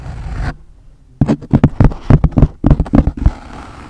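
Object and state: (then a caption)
Wool felt hat tapped with nails. A wide-brim pink wool felt fedora hat with a hollow crown is held over the microphone while long blue nails tap and scratch its crown, and it is then held up close to the camera. After a soft, rough scratching, about fifteen quick, dull, low thumps come at an uneven pace, each dying away almost at once. The clip ends in a quiet, muffled rustle.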